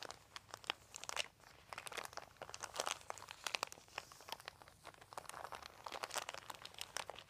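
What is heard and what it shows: A flat hand and fingertips rub and crinkle a large, thin, white, crumpled plastic sheet. Dense, bright crackles and crunchy snaps come in rapid, uneven bursts, with almost no low end and very short decay after each sharp crinkle.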